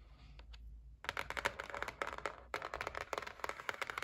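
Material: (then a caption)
Cardboard. Long nails tap the lid edge of a white cardboard gift box resting on a table. After about a second of quiet low hum, a quick run of dry, crisp clicks starts, pauses briefly around the middle, then picks up again. Each bright tap dies away almost instantly.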